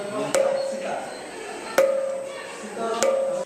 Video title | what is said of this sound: Ces Artefacts Antiques défient les Lois Physique ! | Si vous tapez sur l'une des colonnes de pierre, vous entendrez une musique qui vous transportera dans une autre époque.